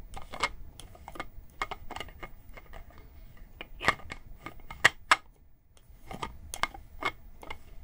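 Long painted nails tap and scratch the white plastic cap and body of a tall blue-and-white It's Skin plastic toner bottle, hollow and appearing to be filled with liquid, while it is held in the hand. The result is an irregular run of sharp, dry plastic clicks with a bright tone around 1.9 kHz, with a few louder taps near the middle and soft scratching between them.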